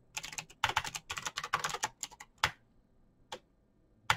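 Fingertips of both hands type rapidly on the plastic keycaps of a backlit black plastic mechanical keyboard with clicky green switches, resting on a desk. Fast, bright, sharp clicks come in dense bursts with brief gaps, then trail off to a few isolated keystrokes. A final loud click closes the clip.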